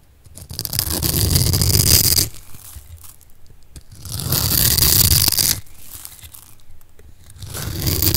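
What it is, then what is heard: Bar of soap being scraped and cut. A metal blade scrapes and cuts a solid, dry rectangular bar of blue and white striped soap held in the hand. The sound is a gritty, crackling scrape with a low rumble under a bright hiss, rising in long strokes separated by quieter, crumbly scratching.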